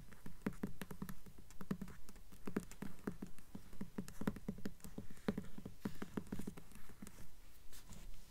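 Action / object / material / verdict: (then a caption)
tap / hardcover book with paper dust jacket / paper, cardboard / none. Long nails tap quickly on the glossy paper dust jacket covering the front of a purple hardcover book, *Bloodhound*, held upright and solid. The taps come in a steady, slightly uneven patter of short, dry clicks with a soft low thud around 200 Hz and almost no ring.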